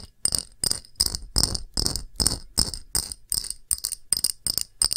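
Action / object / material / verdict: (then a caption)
tap / pressed-glass shallow dish / glass / none. Long nails tap an empty, round, thick, clear pressed-glass shallow dish with a patterned rim. The result is a quick, uneven run of bright, clicky taps with a sharp high glassy ping that dies away almost at once.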